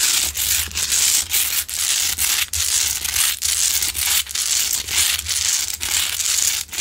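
Long nails scratch the sides of a large, solid, rough pink Himalayan salt rock lamp that is lit. Bright, gritty scraping strokes repeat in a steady back-and-forth rhythm, with brief dips in loudness between strokes.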